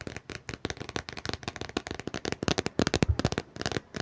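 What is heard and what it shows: Fingers tap rapidly on a book, producing a dense run of short, dry taps mixed with light scratching. Each tap has a soft low thump and a crisp, bright edge that dies away instantly, in an uneven rhythm across the clip.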